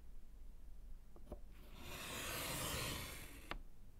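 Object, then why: Wood-framed slate chalkboard and chalk. A gloved hand writes with orange chalk on a small, solid slate chalkboard in a wooden frame. A couple of light taps are followed by a long, bright, hissing scratch of chalk across the slate that builds and then ends in a sharp click as the chalk lifts off.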